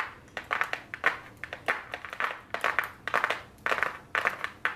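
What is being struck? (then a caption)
Small flat cardboard box tapped with long nails. Very long blue nails tap and scratch the front of a small, flat white cardboard eyeshadow palette box held upright. Quick, irregular clicky taps with short papery scrapes come in uneven clusters, bright and dry with almost no low end and a very short decay.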